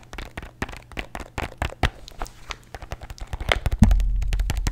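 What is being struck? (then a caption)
Plastic pill bottle with tablets. A plastic bottle holding antacid tablets is tapped rapidly with fingernails, giving a fast, uneven run of short, dry clicks and ticks. Near the end a louder low thump lands, and a steady low rumble continues under the remaining taps.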